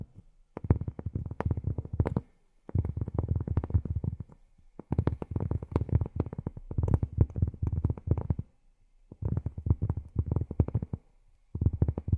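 Cork is tapped rapidly with long fingernails in six quick bursts separated by short pauses. Each tap is a dull, low thud with almost no ring.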